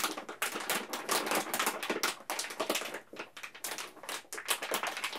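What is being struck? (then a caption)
Plastic candy bag. A full yellow plastic M&M's candy bag has its top crinkled and rubbed between the fingertips of both hands. The result is a dense run of sharp, bright crackles and rustles with little low end, coming in bursts that rise and fall.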